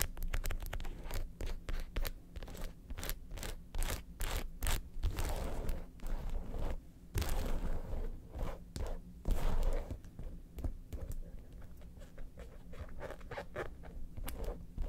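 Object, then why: Leather handbag. Long pointed acrylic nails rapidly scratch and tap the leather segments of a hollow red leather lobster-shaped handbag with gold studs, while the bag is slightly repositioned. The result is a quick, uneven run of dry, papery scrapes and crisp taps with short bright bursts over a steady low rumble, easing into lighter, quieter strokes toward the end.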